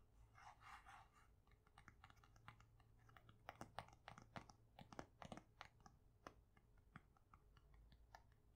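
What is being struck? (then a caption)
Paper sticky note pad. A pink pad of paper sticky notes, held flat in one hand, has its top and edges scratched and tapped with long nails. A soft, papery scratching comes first, followed by a run of quick, dry, crisp taps that stop at once, over a faint low hum.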